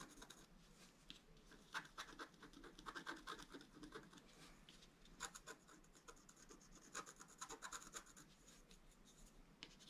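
A thin wooden or bamboo stylus scratches away the black coating of a flat scratch art card held on a table, making continuous dry, bright scratching strokes. Short rasping bursts come quickly one after another, with brief sharper peaks and a faint mid-range tone under the scrape.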